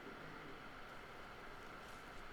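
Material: Nothing is struck.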